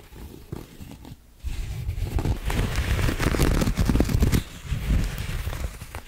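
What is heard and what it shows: A round white coiled cotton rope coaster, flat, solid and soft, is held in both hands and scratched across its textured surface with long acrylic nails. Quiet, low, crackly scratching opens, then after a short pause it turns into a louder, busier run of rough rasping and crinkling strokes that eases slightly toward the end.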